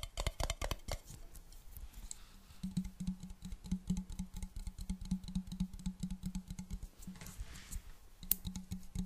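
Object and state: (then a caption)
Glass jar with metal lid, nail tapping. Long black nails tap rapidly on a clear glass jar partly filled with water and on its metal lid, producing dense, quick clicking taps. Through much of the clip a steady low hum sits beneath the tapping, and a brief hissy swish comes near the end.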